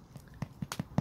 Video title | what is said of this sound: *** VIKING SHELTER *** Behind the scenes with Bushcrafttools/TA Outdoors | you can hear it sounds hollow all the way around